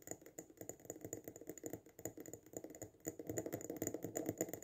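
A small glass jar filled with pink sand and a band of dark sand, with lace trim at the rim and an artificial succulent on top, is held in both hands and fast-tapped on its glass sides with short fingertips and nails. About 33 quick, dry clicking taps sound in a rapid, uneven patter, each with a hollow mid tone around 320 Hz and a bright glassy tick that dies away almost at once. The tapping grows louder and denser in the last second and a half.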